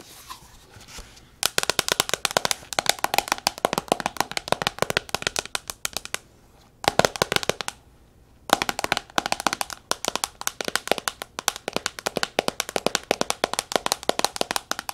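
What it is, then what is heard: Glass tablet screen. Long nails tap very fast on the glass screen of a black tablet lying flat on a wooden table. The sharp, bright clicks come in dense bursts, broken by brief pauses around six and eight seconds.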